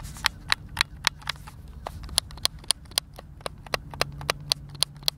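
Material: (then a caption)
Plastic. Fingertips and thumbs press and click the buttons of a white, hand-sized, hollow plastic Xbox controller held in both hands. About 17 short, sharp, bright plastic clicks are heard at an irregular pace over a faint steady low hum. Each click stops almost instantly with no ring.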